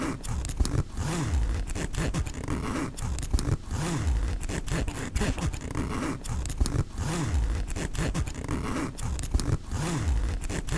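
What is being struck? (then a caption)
Nylon backpack zipper with metal pull. Fingertips pull the metal-pull zipper on the front pocket of a black mesh nylon backpack back and forth. The result is a steady run of rasping zip strokes, heavy in the low end, with short bright ticks between passes.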